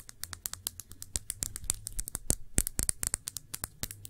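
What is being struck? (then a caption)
Glass shot glass. Long nails tap a small, clear, thick-bottomed glass shot glass that is hollow, empty and held on its side. The result is a quick, uneven run of bright, sharp clicks that die away almost instantly, over a faint low hum.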